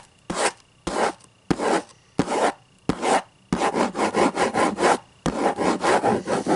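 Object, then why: Hardcover book cover. The hard cover of a hardcover book is scratched and rubbed with the fingers, giving a dry, rasping scrape. Five separate slow strokes come first, then two runs of quicker, rhythmic scratching separated by a short pause.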